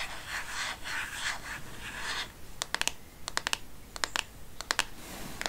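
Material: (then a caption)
Plastic. Long painted nails scratch across the back of a black plastic smartphone case in soft, hissing strokes for about two seconds. The nails then tap quickly on its surface and edge, making about a dozen sharp, bright, dry clicks that stop instantly with no ring.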